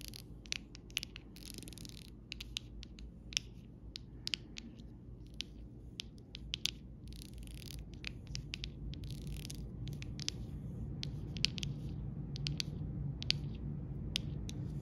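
The round tip of a copper metal stylus traces and taps along the rows of an acrylic rhinestone sticker sheet, a rainbow arc of small rhinestones and larger clear gems on clear plastic sticker backing lying flat on fabric. Brief, bright clicks and ticks around 3 kHz land at an uneven pace, mixed with light scratching. A steady low hum runs underneath throughout.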